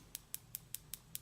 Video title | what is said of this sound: Kiss Acrylic Nail Kit Demo Tutorial | once they're nice and dry it'll be a louder tapping noise